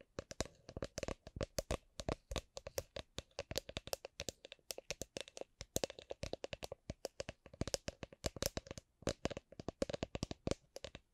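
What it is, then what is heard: Drink shaker being tapped. A drink shaker is tapped gently, giving a long, steady run of short, dry taps. Each tap carries a faint ringing tone around 540 Hz and a bright click, then dies away almost instantly.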